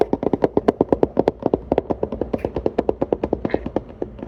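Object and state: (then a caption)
Empty paperboard milk carton. Rapid fingertip tapping on an empty Planet Oat oat milk carton produces a steady stream of about 34 short, dry, hollow taps. The taps have a mid-range tone around 400 Hz and a faint bright click, with almost no ring between them.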